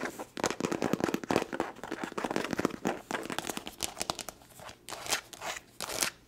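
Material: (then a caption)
Leather. Long nails tap fast and aggressively on the surface of a small, hollow black leather glasses case. The result is a dense run of sharp, clicky taps with a bright, crackly edge, dropping into short pauses and then two louder bursts near the end.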